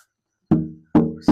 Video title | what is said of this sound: Wayne Henderson Guitar Auction/Benefit | I'm just tapping on the back of it and you can hear it resonate and sound